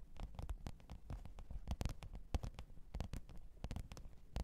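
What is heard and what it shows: Long pointed nails tap and scratch the top of a black textured faux-leather hard-shell microphone case with a zipper, lying flat on fur. The result is a quick, irregular run of soft, dull, low thumps, each dying away almost instantly, with faint scratchy ticks between them.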